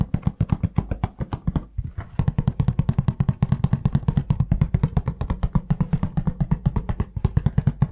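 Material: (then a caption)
Cardboard. Fingertips tap rapidly and steadily on a hollow, printed cardboard tissue box with tissues inside. The taps are short, dry, low thuds with a hollow knock around 130 Hz and almost no ring. They pause briefly near the two-second mark, then resume.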